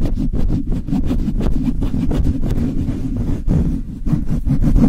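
The bare metal mesh grille of a Blue Yeti microphone is rubbed with palms and fingertips and scratched with long nails. The result is a steady, dense, low rumbling rub centered around 240 Hz, broken by rapid bursts of brighter, scratchy strokes.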